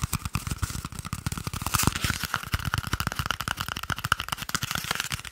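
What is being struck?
Cardboard toilet paper tube.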